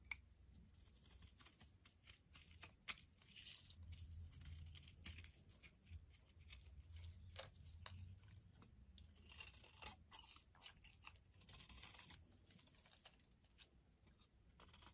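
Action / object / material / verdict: scrape / bar of soap scraped with a metal blade / soap / none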